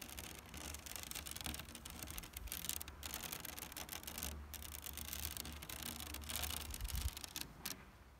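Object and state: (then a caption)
Synthetic rattan chair back. Long nails and fingertips scratch across the large black woven plastic backrest of a synthetic rattan chair. The result is a steady, dense, bright rasping texture with quick ticking scrapes over a low rumble, easing off near the end.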